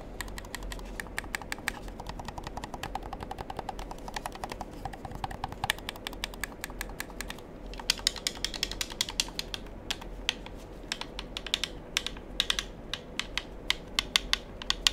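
Fingertips rapidly click the buttons of a black handheld plastic gamepad held up beside the mic. The result is a quick, uneven stream of short, bright, dry clicks over a faint steady low hum. Louder, sharper clicks come in the second half.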